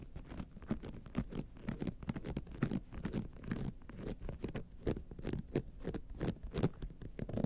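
Long nails scratch the lower rhinestone band and the top edge of a gold rhinestone-studded clutch wallet standing upright. The result is a quiet, dry, rapid patter of close scratching strokes, mostly low in tone with brief bright flicks and no ringing.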